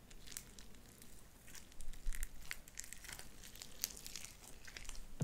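Light-blue sticky slime with white beads is pulled apart and squished between both hands. It gives a steady run of soft, crinkly crackles and sharp bright pops, with a few louder snaps and a low, quiet rumble underneath.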